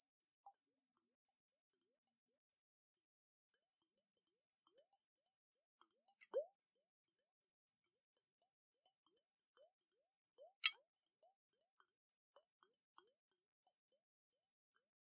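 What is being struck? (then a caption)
Glass jar partly filled with water. A round, hollow glass jar with a metal lid, partly filled with water, is held in the hands and shaken and tilted so the water sloshes while fingertips and nails tap and click on the glass. The sound is a quiet, steady stream of dozens of short, bright clicks and ticks, with a few soft, low gurgling plops from the moving water. Each click dies away almost at once, leaving near-silence between the taps.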